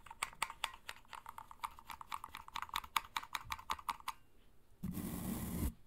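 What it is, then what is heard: Plastic vacuum brush attachment. Long nails tap and scratch a hand-sized, hollow grey plastic vacuum cleaner brush attachment with a red clip and bristles. For about four seconds there are roughly two dozen quick, crisp plastic taps with a hollow ring near 1.1 kHz, and a brief pause follows. The clip ends with a dense, brighter scratching rush across the bristles that lasts just under a second.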